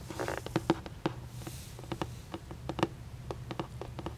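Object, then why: Cardboard gift box. Long painted nails tap and scratch the printed surface of a hollow red printed cardboard moon cake gift box held up close. The result is a quick, irregular run of short, dry taps with a low hollow body and little ring, over a soft scratchy patter.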